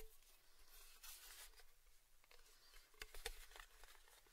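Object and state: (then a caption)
Round metal tin tapped and scratched. Fingertips and nails tap and scratch the lid and rim of a small, hollow, round, red-painted metal Baileys tin held in both hands near binaural mics. Quiet, irregular light taps and bright scratchy rustles are heard, with a couple of sharper clicks near the end that give a brief, faint metallic ping around 470 Hz.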